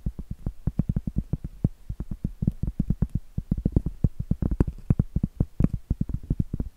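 Long acrylic nails rapidly tap and scratch the flat face of a round, solid cork trivet held upright. The result is a fast, uneven stream of dull, low, soft knocks with almost no ring and a faint scratchy texture between them.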